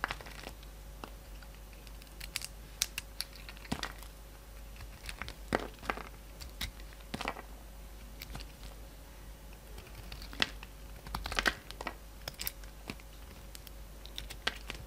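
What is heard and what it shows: A hand-sized solid peach bar of soap with a glossy red coating is peeled and shaved with the steel blade of a yellow utility knife. Quiet, crisp scraping and cutting crackles come in scattered bursts over a faint steady hum and low background rumble.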